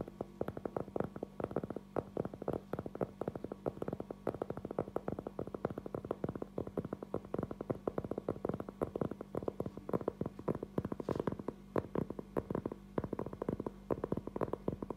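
A round, flat cork trivet board about 20 cm across, thin and solid, is held in both hands and tapped close up with fingertips and short nails. The result is a steady stream of rapid, dull, short taps that stop at once with no ring, sitting over a faint low hum.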